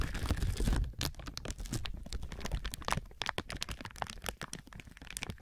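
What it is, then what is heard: Crinkling plastic film. A thin clear plastic film or bag stretched over a binaural microphone is squeezed and rubbed by both hands with fingertips and palms, crinkling it. A dense, irregular stream of sharp crackles and bright snaps sits over a heavy low rumble that is strongest in the first second.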